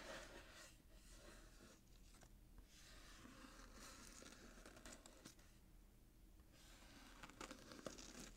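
A small, hollow cardboard gift box wrapped in gold glitter-striped paper with a satin ribbon bow is held in the hands while fingertips and short nails tap and scratch across the paper. The result is a quiet, steady stream of papery scratching and crinkling with soft, dull taps, and a few sharper taps stand out near the end.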